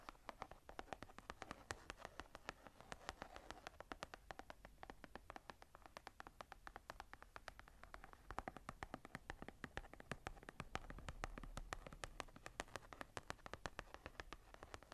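Long nails rapidly tap and scratch the smooth brown leather cover of a second journal, a closed hardcover held upright. Dense, quick, dry clicks with very short decay sit over a soft scratching rustle, all at a quiet level.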